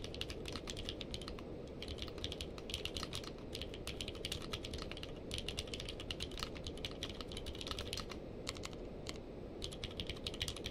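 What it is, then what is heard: Mechanical keyboard with plastic keycaps. Two-handed fingertip typing on a purple-case mechanical keyboard with plastic keycaps produces a steady stream of quick, bright clacks over a constant low hum. The key strikes are short and dry, with almost no ring, and continue at an even pace throughout.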